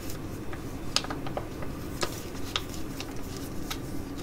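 A flat, filled black and pink Mediheal H.D.P laminated foil sheet mask pouch is held and tapped and scratched with long nails. Scattered sharp, bright clicks and ticks stand out irregularly over a steady low crinkly rustle, with each tap dying away almost instantly.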